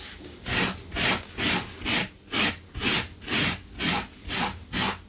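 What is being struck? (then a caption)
Low-pile fabric carpet. A small wire brush with a yellow handle, held in a gloved hand, scrubs back and forth across a blue low-pile fabric carpet runner on the floor, with a metal tin of debris sitting beside it. Ten steady, rhythmic strokes give a bright, hissing scratch, each swelling and fading.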